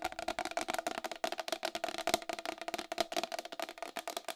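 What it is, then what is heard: Plastic wall clock case tapped with nails. Long acrylic nails tap fast on the side rim of a round white plastic wall clock with a hollow case. About 22 quick, dry clicks follow each other with a hollow, mid-pitched ring near 690 Hz and bright edges. Each tap dies away almost at once.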